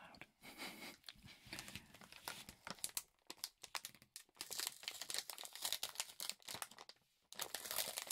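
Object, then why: Thin plastic film over a mechanical keyboard. Fingertips press and rub across clear, thin plastic film wrapped over a black GK66 split-spacebar mechanical keyboard. The result is dense, bright crinkling and crackling with almost no low end, coming in quick bursts with a short quiet gap near the seven-second mark.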